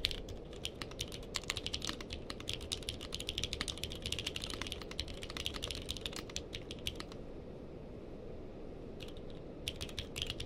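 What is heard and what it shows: Fingertips type steadily on a purple-cased mechanical keyboard with plastic keycaps, recorded from a mic placed behind it. It gives a rapid run of sharp, bright clicks over a low steady hum. The typing pauses for about two seconds near the end, then resumes with a few more quick keystrokes.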